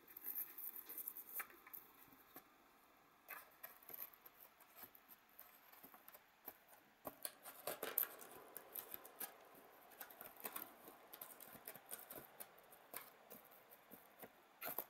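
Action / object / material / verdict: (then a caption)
scrape / molded polystyrene foam packaging tray / polystyrene foam / none. A white, hollow, molded polystyrene foam packaging tray with cup-shaped cells lies on a table and is touched with red-painted fingernails, then poked and scratched with a thin pointed stick. Quiet, dry, crisp scratches, squeaks and light taps come in irregular bursts with bright, hissy edges and almost no low end. Each sound dies away almost instantly.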